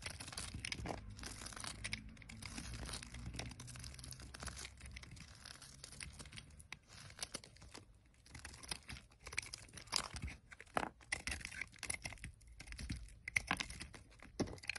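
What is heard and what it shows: A utility knife blade carves and scrapes slices off a solid pale green olive oil soap bar held in the hand. Dry, crisp shaving and crunching strokes come in quick uneven bursts with a bright, papery tearing texture and a faint low rumble underneath. The cuts grow sharper and more separated toward the end.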